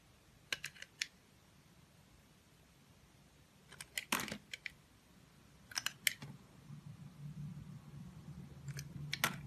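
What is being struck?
Glycerin soap bar cut with a knife blade.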